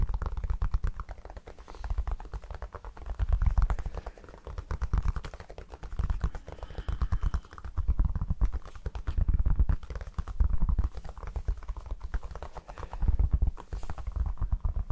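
A pink foam object is tapped rapidly and continuously, making soft, muffled low thuds with almost no ring. The tapping swells and eases in loudness in waves throughout.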